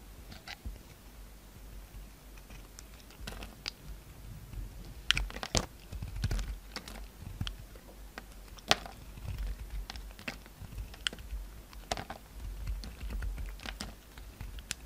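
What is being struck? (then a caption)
Bar of soap cut with a knife. A utility knife carves crumbly shavings off a solid white soap bar with a red coating and rim, held in the hand. Short, dry, crisp scrapes and clicks with bright crackle come in irregular bursts over a steady low hum. Each cut dies away almost instantly.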